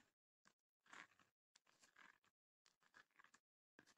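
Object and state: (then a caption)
Wooden chest with rattan panels, scratched. Long nails scratch the woven rattan lid and front panels of a small, closed, hollow wooden chest. The result is several bursts of dry, crunchy scraping with a bright, papery texture centered around 1.6 kHz, separated by brief silences.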